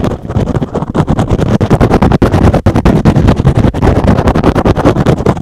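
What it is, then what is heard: Synthetic foam sponge. A rectangular, soft, porous, hand-sized green and blue synthetic foam sponge is held in one hand and rapidly scratched with the fingertips and short nails of the other. The result is a dense, continuous run of fast, dry scratching bursts with a heavy low-end rumble and short gaps between some strokes.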